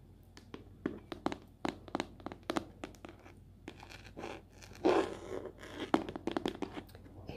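A small, hollow, rectangular translucent blue plastic case with a price sticker and items inside is held in both hands and scratched and tapped with long pink acrylic nails. The result is a quiet run of sharp, dry, tapping clicks with almost no ring, mixed with scratchy scrapes, including a louder, rougher scraping burst near the middle.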